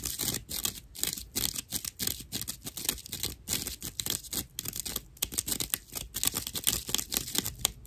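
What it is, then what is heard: Natural loofah sponge scratched. A slice of dried, fibrous natural loofah sponge is scratched with long nails, then held upright and scratched with both hands. The result is a rapid, dense run of dry, rough, crackling scratches with short bursts and almost no ring, and the sound is mostly bright and high.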